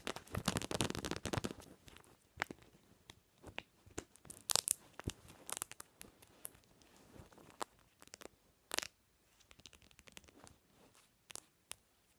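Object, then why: Smartphone in hard plastic case with metal ring holder. Long nails gently tap a smartphone in a pink-patterned hard plastic case and its metal ring holder. A dense, crackly flurry of taps in the first second and a half gives way to scattered, sharp, bright clicks with almost no ring, some louder metallic ticks standing out.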